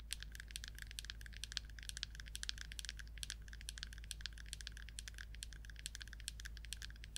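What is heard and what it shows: Long acrylic nails rapidly tap and scratch the orange screw lid and body of a small red plastic paint jar. The result is a quiet, steady stream of sharp, dry, bright clicks that stop dead with no ring, over a constant low hum.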